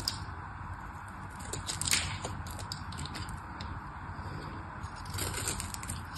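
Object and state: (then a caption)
Bar of soap being cut and scraped. A solid pink crosshatched bar of soap is held in the hands and cut and scraped with a small black knife blade. The result is a steady, soft crackling and scratching over a low rumble, with brighter crisp scrapes standing out, the sharpest near the two-second mark.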